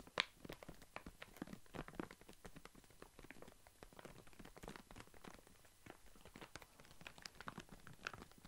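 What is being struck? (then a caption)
Plastic foil snack bag with walnuts. A full plastic foil snack bag of walnuts is handled and crinkled with fingers close to the mic. Dense, bright crackling and crunching comes in quick irregular bursts throughout, with some sharper pops and soft rustling between them.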